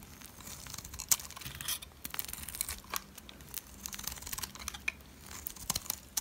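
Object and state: Dry soap bar being shaved.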